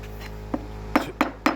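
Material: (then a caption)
Plaster. Four taps on a remaining patch of old plaster on the wall of an emptied pool being remodeled, each giving a short, hollow knock that dies away almost at once. The hollow sound marks delaminated "pop-off" areas that crews find, mark and chip out before a resurface.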